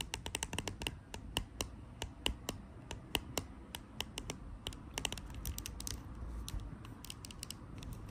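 Long acrylic nails tap and scratch the body and label of a small clear green plastic Dettol sanitizer bottle filled with gel, lying on a white cloth. Quick, irregular bright clicks with very short decay ring out over a soft, steady scratching hiss, sounding much like rapid typing.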